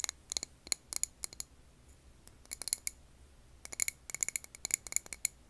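Long painted nails tap a clear glass jar filled with green wax candle, recorded over an earbud mic. Bright, very short glassy clicks come in quick irregular bursts, with brief quiet gaps between clusters. Each tap stops at once with almost no ring and very little low end.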